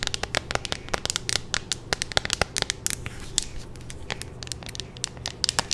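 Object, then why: Clear plastic phone case. A handheld, hollow clear plastic phone case with a pink magnetic ring is tapped and scratched with long nails. The result is a rapid, uneven series of sharp, bright clicks and ticks over soft scratching, with a faint low hum underneath.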